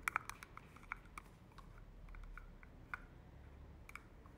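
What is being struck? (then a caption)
Plastic spray bottle. Long manicured nails tap and scratch a hollow, hand-sized white plastic thermal water spray bottle. Quiet, sharp, dry clicks centered around 1.3 kHz with bright edges come in an irregular series, some closely doubled. Faint scratching fills the gaps, and the clicks stop dead with no ring.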